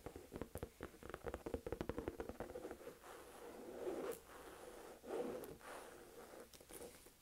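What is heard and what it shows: Long nails rapidly tap the front panel of a medium-size, hollow, olive green saffiano textured-leather crossbody purse, making a quick run of dry, hollow clicks centered in the midrange. The tapping then gives way to softer, longer scratching swells across the textured leather, with faint bright edges.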